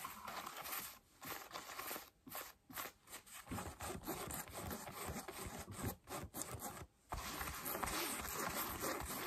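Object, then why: Cotton denim jeans. Long light-blue nails scratch the thigh and knee of worn blue cotton denim jeans on a raised leg. The result is a steady, rough scratching and rasping of fabric, broken by a few brief pauses, with bright, hissy texture across the whole range.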